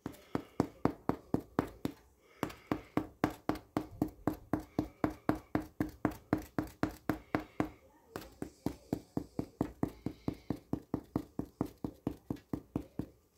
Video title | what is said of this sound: 1631. How to know when homemade sourdough bread is done cooked right ready to take out of the oven | that to me is the perfect sound